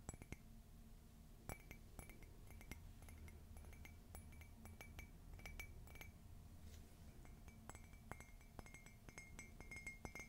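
A white glossy ceramic coffee mug printed "Meet me under the Mistletoe," hollow and empty, is held up and tapped on its side with long fingernails. Quick, bright clicking taps come in irregular bursts, each with a very short glassy ring, over a quiet low hum.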